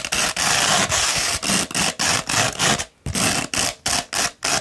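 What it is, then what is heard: Coarse sandpaper scratched by fingernails. Long pointed red nails scratch along a coarse beige sandpaper sheet, likely grit 60, rolled into a large hollow cone or tube and held in one hand. A fast, uneven run of dry, gritty rasping strokes, bright and hissy with little low end, fades briefly near the end before the scratching resumes.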